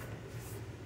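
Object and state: Nothing is struck.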